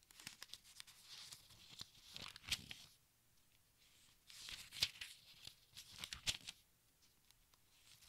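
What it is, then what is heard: Thin-paper book, pages turned. Fingertips turn the thin, crinkly pages of a large open textbook, making bright, dry rustling and crinkling. The sound comes in two bursts of quick, sharp crackles separated by a quiet pause, with almost no low end.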